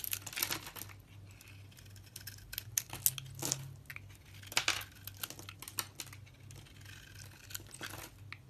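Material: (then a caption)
Soap. A solid white soap bar with a red outer layer is carved with a hand-held utility knife blade, giving a run of crisp, bright scraping and shaving cuts with short sharp peaks. A faint low hum sits beneath the cuts throughout.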